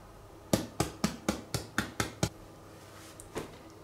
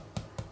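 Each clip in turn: First: whole-grain bread baked through (hollow). Second: underbaked whole-grain bread, not yet hollow.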